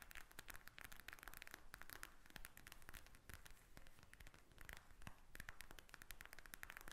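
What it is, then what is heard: Plastic gel bead eye mask. Long nails quickly tap and scratch a pink plastic eye mask filled with gel beads, lying flat. The result is a quiet, continuous stream of rapid, crisp clicks and crackly scratches with no pauses.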